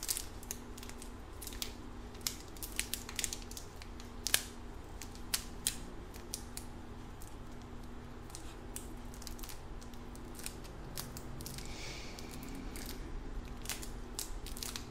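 A small red bug-shaped lollipop on a white stick, in a clear crinkly plastic wrapper, is held in one hand while the fingertips of both hands crinkle and squeeze the wrapper. Sharp, bright crackles and snaps come in irregular bursts over a quiet, steady low hum.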